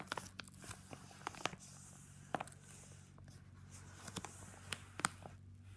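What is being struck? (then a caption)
Padded paper mailer. Fingertips fold and rub along the paper flap edge of a yellow Jiffy padded paper mailer. Short, dry, bright crinkles and crackles pop out over a steady low hum, with quiet rustling between them.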